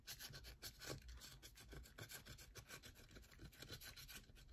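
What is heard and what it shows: A solid yellow bar of soap is rubbed and scratched with long nails, making a quiet, rapid, continuous rasping. Bright, hissy strokes repeat in quick succession over a faint low rumble.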